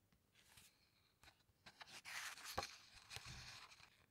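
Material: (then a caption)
Paper. Fingertips rub across a glossy paper page of a large hardcover book with soft, dry scratches, then the page is lifted and turned. The turn makes a louder, bright crinkling swish and rustle that settles back to quiet.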